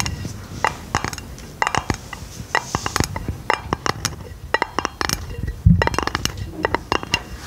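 A hollow, round aluminum lid held over the microphone is tapped with long painted fingernails in quick, irregular bursts. Each tap gives a sharp, bright click with a very short ring over a low, hollow boom from the lid, plus a louder thump near the end.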